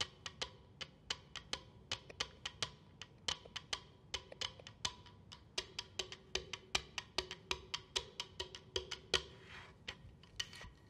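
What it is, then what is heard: Wooden cheeseboard. Long acrylic nails and fingertips tap and drum a quick flamenco-style rhythm on the face of a flat, solid, light-coloured wooden cheeseboard (cutting board), roughly 30–40 cm long, held upright on its edge on a table. Each strike is a short, dry, bright wood-block click that dies away almost instantly, with very little low end, in a fast, uneven stream of taps across the whole clip.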